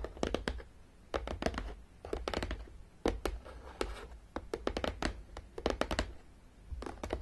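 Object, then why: Cardboard game box. Long, dark-painted nails on both hands tap and scratch along the top edge of a long, flat, printed cardboard Battleship game box lying hollow on a table. Quick bursts of dry, clicky taps with a hollow low thump come in clusters, separated by brief soft scratching.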